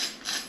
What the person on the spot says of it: You can hear how crispy that skin is.